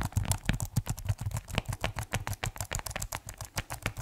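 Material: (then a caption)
Plastic. Fingertips type on the keys of a keyboard in a white plastic case, producing about 26 short, dull clacks in a quick, uneven rhythm. Each keystroke has a low, thumpy body with a brief bright tick on top and dies away almost instantly.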